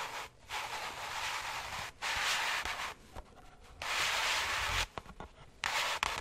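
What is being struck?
Floral foam block pierced with wooden toothpicks.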